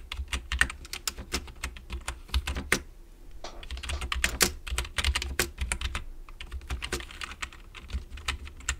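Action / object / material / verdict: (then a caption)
tap / plastic computer keyboard / plastic / none. Fingertips of both hands type continuously on a full-size black plastic computer keyboard resting on a wooden desk. The sound is a rapid, uneven stream of short, bright plastic key clicks and clacks, with a steady low hum beneath.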